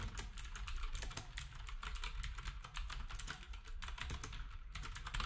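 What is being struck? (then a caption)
Plastic round-key keyboard. Fingertips of both hands type steadily on a black, typewriter-style retro keyboard with round plastic keycaps. The result is a rapid, continuous stream of bright plastic clacks over a steady low rumble.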